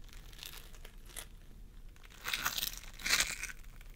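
Fingertips of both hands press and squish a pastel mound of floam sculpting foam made of polystyrene beads on a wooden table. Soft, bright crinkling and crackling pops run throughout, with louder crunchy bursts near the middle and again toward the end before fading back to quiet crackles.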